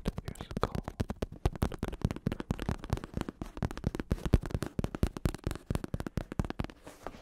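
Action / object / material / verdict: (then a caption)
tap / padded synthetic leather bicycle saddle / synthetic leather / none. A black padded bicycle saddle with a synthetic leather cover, red trim and a plastic shell underneath is held in one hand and tapped and scratched on its cover with fingertips and nails. The result is a steady stream of many quick, dull, low thuds with soft scratchy texture between them and almost no ring.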